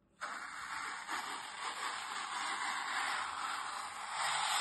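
A utility knife blade scores and scrapes along the surface and edge of a brick-sized, solid, dry green floral foam block, held on a table by a hand with long red nails. After a brief silence, a steady, dry, scratchy hiss begins and continues throughout, concentrated in the mids and highs with almost no low end, swelling slightly toward the end.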